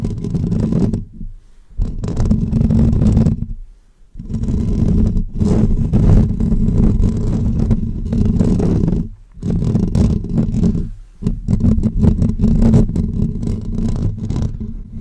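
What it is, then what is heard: Metal mesh microphone grille being scratched. Short natural fingernails of both hands scratch the hollow woven metal mesh grille of a pink condenser microphone. The result is dense, close, rumbling scratching that is heavy in the low end, with a muffled, boomy texture. It comes in long bursts separated by a few brief pauses.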